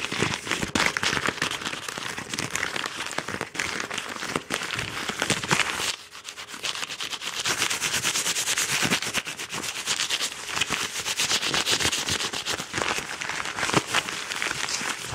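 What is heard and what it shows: A yellow Amazon kraft paper padded mailer envelope is held in hand while fingertips and nails scratch and rub its paper and crumple its edge. A dense, bright crackling and scratching runs throughout, with a brief quieter dip partway through before it picks back up.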